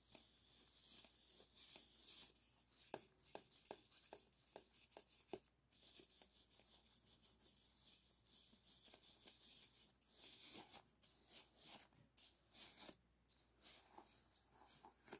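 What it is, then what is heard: Aluminium foil flexible duct. Brushes held in both hands rub and scratch the crinkled foil of an arched, hollow aluminum foil flexible duct. The result is a bright, dry crinkling and scraping texture, broken by sharp, quick ticks and brief louder swishes with almost no low end.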